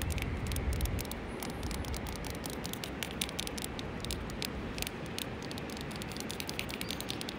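A hand with long painted nails taps and scratches the dusty surface of a large, solid grey rock boulder on a riverbank. Quick, sharp, bright clicks come in an irregular patter over a steady rustling, scratchy hiss. A heavier low rumble is heard in the first second.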